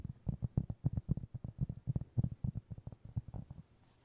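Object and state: Cork trivet.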